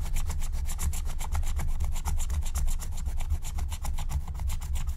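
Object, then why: Coated scratch-art paper card scratched with a wooden stylus. A wooden stylus scratches a thin black-coated scratch-art card lying flat, working in rapid back-and-forth strokes that reveal the colour underneath. The result is a steady, rhythmic rasping scrape, with bright scratchy bursts on each stroke over a dense low rumble.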